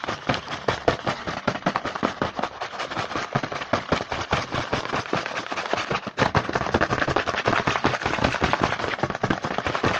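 A small printed cardboard Hanuta chocolate bar box is held in hand while fingertips rapidly tap and scratch across its front. The result is a dense, fast, irregular stream of dry, crackly clicks and scrapes, centered in the midrange with bright hiss on top, pausing briefly around the six-second mark before continuing.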